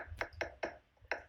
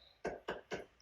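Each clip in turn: First: Four quick hard taps on a stucco-faced wall give a papery, hollow mid-pitched knock with almost no ring. Second: Three short, firm taps with a dry mid-pitched knock and almost no ring: a solid hard-coat cement stucco wall.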